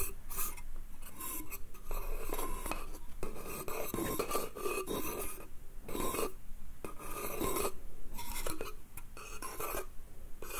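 Fingernails scratch and rub along the slats and edges of a small, hollow, empty wooden slatted bath crate of light pine, held in the hand. The result is a run of dry, raspy scraping strokes with brief pauses between them, bright and papery with a faint hollow woody tone underneath.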